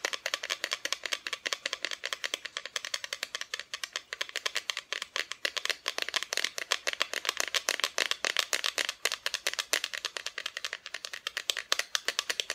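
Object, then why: Carved wooden Santa decoration. Continuous tapping on a wooden Santa Christmas decoration produces a rapid, steady stream of crisp, dry clicks. The sound is bright with almost no low end, and each tap dies away almost instantly.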